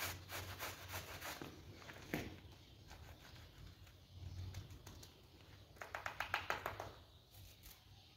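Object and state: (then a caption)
Vinyl coil door mat being scrubbed. A gloved hand scrubs a flat pink PVC coil door mat, wet and caked with mud and soap, with a stiff-bristle brush on a tiled floor. Quick, uneven bristle strokes give bright, scratchy swishes over a low rumble, with a louder run of brushing near the end.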